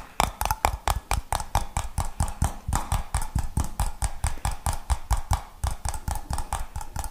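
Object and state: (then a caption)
Glass jar with metal lid. Fingertips and nails tap a clear glass jar with a gold metal lid and a little pale content at the bottom, striking both the glass and the lid. About 31 quick, uneven taps sound in a steady stream, each a short dull knock with a brief ringing tone near 850 Hz and a thin bright click on top.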